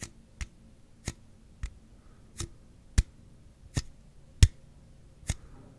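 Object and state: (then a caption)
Aluminum drink can. A slim Celsius aluminum drink can, held horizontally over the mic, is tapped on its side with the fingertips. Nine short, dull taps sound at uneven intervals, each with a brief bright click and almost no ring, over a low hum.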